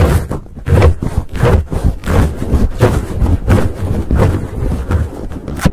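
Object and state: Foam microphone windscreen.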